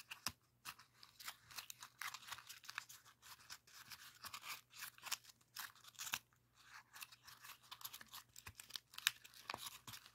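A rainbow origami pop-it made of folded colored paper has its hollow folded-paper cells pushed in and popped with thumbs and fingertips. Quiet, dry, crinkly pops and crackles follow one another rapidly and irregularly, bright and papery with almost no low end. A faint steady low hum sits underneath.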